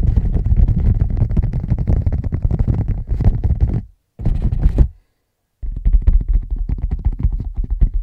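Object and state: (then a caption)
Tapped leather bag. A leather bag is tapped rapidly with the fingertips, giving a dense stream of soft, dull, low thumps with almost no ring. The tapping stops briefly twice near the middle, then resumes at the same quick pace.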